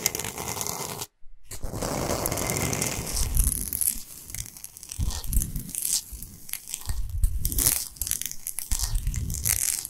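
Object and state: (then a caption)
Himalayan salt block. A large, flat, solid slab of Himalayan salt resting on fur is tapped and scratched across its top with the long, pointed nails of both hands. Dense, gritty scratching and crackling rustle carries bright, hissy edges and soft, low thuds from the taps. There is a brief silent gap near the start.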